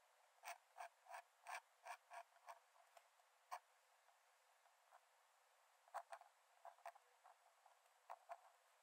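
A metal nib in a wooden dip-pen holder scratches short strokes onto the cream paper page of an open sketchbook lying flat on a dark desk. About thirteen quick, dry scratches are heard: a fast run in the first few seconds, then scattered strokes with soft faint scrapes between them. Each is a thin, crisp rasp with a bright edge and no low end.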